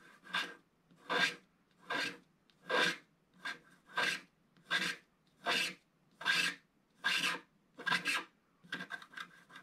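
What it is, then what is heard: Scratch-art paper being scratched. A wooden stick scratches the black coating off a scratch-art paper sheet held flat by one hand. Short, bright rasping strokes repeat in a steady rhythm, each with a broad hiss and little low end. The last few strokes come quicker and closer together.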